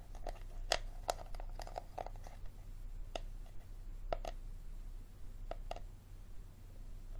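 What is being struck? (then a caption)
Hard plastic water bottle. A hard plastic water bottle is tapped and scratched, giving short, sharp clicks with a ringing tone near 680 Hz. Soft scratching runs between the taps over a steady low hum.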